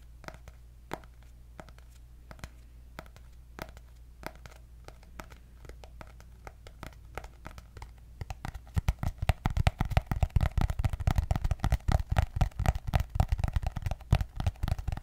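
Long nails scratch and tap on the cardboard cover of a white hardcover paper notebook with gold dots. For the first eight seconds there are soft, scattered scratches and taps over a steady low hum. Then the taps turn into a dense, louder, rapid run of short, dry clicks that stops quickly after each one.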